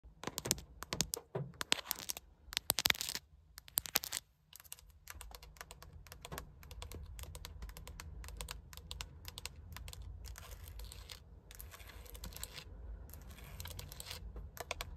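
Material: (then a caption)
Plastic. Long acrylic nails tap and scratch across the center hub of a Subaru steering wheel, a hollow, hard textured plastic airbag cover with a badge. Crisp, bright clicks come in quick clusters that are loud in the first few seconds, then soften into a steady stream of lighter taps and scratching. A low, constant rumble runs underneath throughout.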